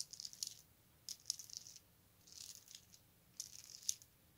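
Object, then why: Plastic bead necklace. A colorful strand of round plastic beads from a necklace is handled and dropped into the palm with the fingertips, so the beads rattle against each other. Four quiet bursts of bright, dry clicking and rattling come in quick succession, each dying away instantly with almost no low end.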